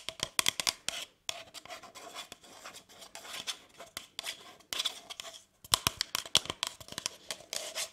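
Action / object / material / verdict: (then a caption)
scrape / cardboard paper cup / cardboard / none. Long nails scratch and tap the side and base of a brown kraft cardboard cup with printed text, hollow and apparently empty, held in one hand. Bursts of dry, bright scratching alternate with sharp, quick taps that die away almost instantly, with very little low end. There are brief pauses near 1.2 and 5.5 seconds.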